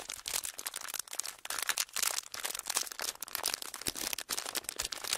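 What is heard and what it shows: Small, clear, ridged plastic packaging is held in both hands and squeezed and crinkled with the fingers. The result is a continuous stream of bright, crisp crackles and crunches, with quick bursts that rise and fall and almost no low end.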